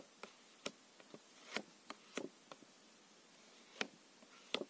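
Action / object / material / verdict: tap / plastic-coated paper playing cards / coated paper / none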